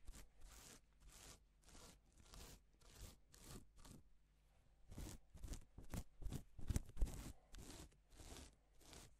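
A gloved hand rubs and sweeps across a flat, reversible pink and silver plastic sequin fabric sheet. About seventeen quiet, scratchy swishes follow one another, each a bright rustle of clicking sequins over a faint low hum. A few strokes near the end are louder and crunchier.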